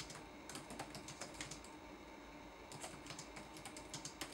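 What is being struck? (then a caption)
Plastic laptop keyboard keys. Fingertips of both hands tap the plastic keycaps of a red-backlit laptop keyboard. Quick, light clicky taps come in two bursts separated by a short pause near the middle, each click bright with a soft low thud under it over a steady faint hiss.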